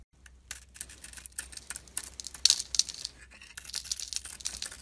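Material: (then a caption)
Soap. A utility knife blade shaves and carves curls off a solid rectangular purple glitter bar soap held in the hand, exposing its white core. Each cut gives a crisp, bright scraping crackle in a quick, irregular series of short bursts over a faint steady low hum.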